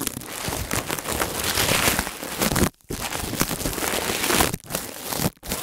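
Fingertips squeeze and crinkle a palm-sized, springy coiled stainless-steel wire scouring pad resting on bubble wrap, with an earphone mic taped underneath. A dense, bright crackling and crinkling runs almost continuously. It cuts to near silence for a moment just before the three-second mark, when the pad is briefly lifted, and drops out twice more near the end.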